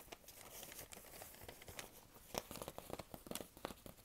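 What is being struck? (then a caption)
Thin paper sheet. A thin, folded, printed paper sheet about postcard size is held in both hands while fingertips and long nails crinkle and scratch it. A quiet, continuous rustle gives way in the second half to a run of sharper, brief crackles and ticks.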